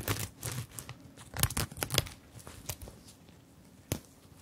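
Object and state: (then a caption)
Sequined fabric purse. Long-nailed fingertips tap and scratch over the round plastic sequins and zip of a small zippered fabric purse held in both hands. The result is a quiet, crackly, crinkling rustle broken by sharp, bright clicks that stop instantly, with a final isolated tap near the end.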